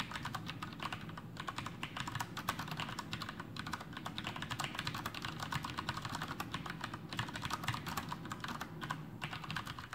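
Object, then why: Plastic mechanical keyboard. Fingertips of both hands type continuously on a full-size black plastic Masterkeys Pro M mechanical keyboard with Cherry MX Brown switches and blue backlit keycaps, resting on a desk. A steady, rapid stream of short clacks blends a muted low thud from the keys bottoming out with crisp, bright key clicks, each dying away almost instantly.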